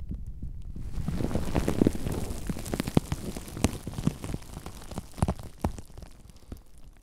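Both hands squeeze and crumple a clear, air-filled sheet of plastic bubble wrap wrapped around a microphone. A close, dense, low-heavy crinkling rustle builds after a quiet start and peaks around the second mark. Sharp, short pops and snaps of bursting bubbles break through irregularly as the crumpling gradually thins out.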